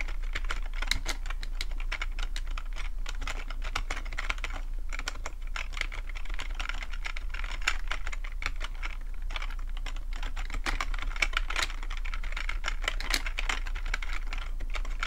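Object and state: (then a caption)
Plastic computer keyboard. Fingertips type steadily on the keys of a full-size black plastic computer keyboard with a hollow plastic body. The rapid, continuous stream of short, bright plastic clicks and taps dies out almost instantly, over a constant low hum.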